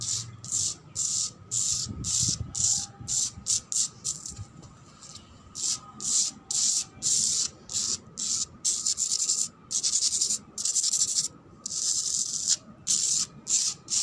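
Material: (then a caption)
Cement. A cement floor is scratched in a run of short, irregular strokes. Each stroke is a dry, bright, hissy rasp, like sanding, with brief gaps of quiet between bursts and almost no low end.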